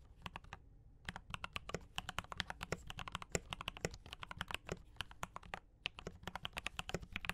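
Fingertips of both hands type fast on a D84 mechanical keyboard with brown switches and cream and red plastic keycaps. A rapid stream of short, bright clacks rides over a soft low thump, breaking off in a brief pause near the start and another near the end. Each keystroke dies away almost instantly.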